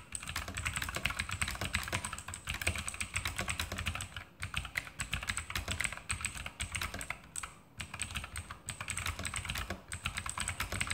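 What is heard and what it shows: Fingertips of both hands type continuously on an E-Element Sharpshooter X2000 backlit mechanical keyboard with plastic keycaps and Outemu blue clicky switches, resting on a desk. A rapid, steady stream of sharp, bright clicks rides over a low clatter, with brief lulls around 4.4 and 7.6 seconds. Each click is short and dry, dying away almost instantly.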